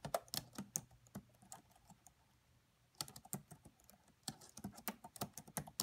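Long manicured nails and fingertips of both hands type rapidly on the black plastic chiclet keys of a red laptop with a hollow body. About 19 quick, dry, bright clicks come in bursts, with a quiet pause in the middle before the tapping resumes.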